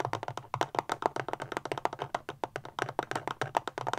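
Long fingernails tap quickly on the solid plastic casing of a small, rectangular black powerbank standing upright, producing 27 sharp, dry clicks. The taps have a hollow, clicky tone centered around 690 Hz and die away almost instantly, forming a fast, uneven rhythm.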